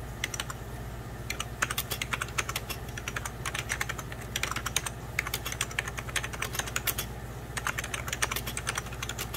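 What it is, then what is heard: Plastic computer keyboard. Fingertips of both hands type on a hollow, beige 1990s Packard Bell plastic computer keyboard, producing rapid, bright key taps in irregular bursts with brief pauses. Each click is short and dry over a steady low hum.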